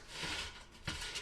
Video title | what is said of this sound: WW Digital Wellness Workshop #352: HOW TO GET EXCITED (AGAIN!) ABOUT YOUR GO-TO FOODS! | can you hear how crispy these are